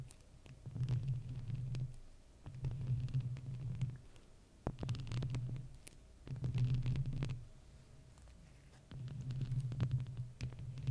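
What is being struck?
Metal mesh microphone grille scratched and tapped with plastic fake nails.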